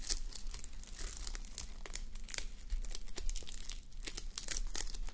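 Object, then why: Fabric sleep mask covered in plastic sequins. Fingertips and long manicured nails scratch and brush a fabric sleep mask covered in plastic reversible sequins, resting on a white mannequin head. The result is a steady run of crisp, crinkly clicks and bright scratchy ticks over a faint low hum.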